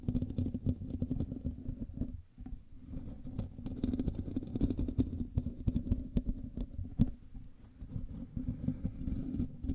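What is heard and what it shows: Fingers of both hands scratch and rub the top of a black USB microphone's hollow metal mesh grille. The result is a dense, low, rumbling scratch with many short crackling ticks, a steady hum-like tone near 240 Hz, and a brief quieter lull a little after two seconds before the rubbing picks up again.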